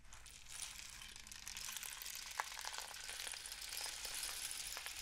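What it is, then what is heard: Cardboard rainstick. A long, hollow, painted cardboard rainstick is tilted and raised upright, and its inner filling cascades down the tube. The result is a steady, bright, rain-like patter of tiny clicks, with one slightly sharper tick near the middle.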